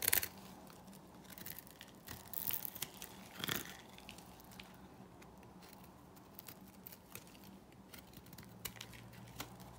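A metal blade shaves thin flakes off the flat face of a solid, dry black bar soap held in the palm. Quiet, bright, crisp scraping and crackling comes in irregular bursts, with a few louder rasps early on. A faint steady low hum sits underneath.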